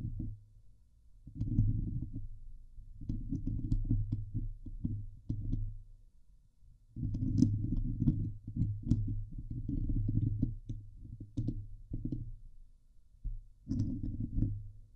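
Long nails, mostly from one hand, scratch the hollow steel mesh grille of a Blue Yeti microphone. The sound is dense, low, rumbling scratching in uneven bursts with short pauses. Faint bright ticks sit above it, and each scrape dies away quickly.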